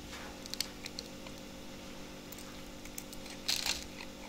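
A utility knife blade carves and shaves the edges of a solid blue bar soap with an embedded label, held in the hand, producing flakes. Quiet, bright scraping ticks and short crisp cuts sound over a steady low hum, with a denser, louder burst of shaving near the end.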